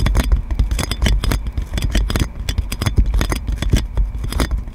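Long nails scratch clear plastic cling film wrapped around a metal microphone, producing a dense run of bright crinkling scrapes over a heavy low rumble and dull thumps. The close, crackling scratches come in rapid, irregular bursts with no pause.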